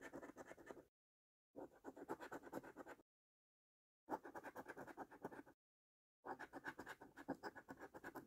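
A coin held in the fingertips scratches the latex coating off a thin, flat cardboard £2 National Lottery 5x £100 Multiplier scratch card resting on a dark surface. Four bursts of quick, gritty rasping strokes are separated by short silences. The scratching is dry and papery, centered in the mids, with faint bright hiss.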